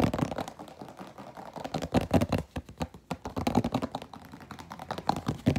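Fingernails rapidly tap and scratch an empty, hollow, clear plastic food container with an orange-rimmed lid as it is held and turned in both hands. The result is a dense, uneven stream of quick, dry clicks and scrapes with a hollow, low-mid body and little brightness, rising and falling in bursts.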